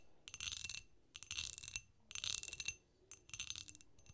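Long acrylic nails tap and scratch a small, empty, hollow green glass candy dish with a clear cut-glass pedestal foot, held on its side in both hands, working over both the foot and the bowl. Four bursts of bright, glassy clicking and scraping carry faint high ringing tones with almost no low end, separated by brief quiet gaps.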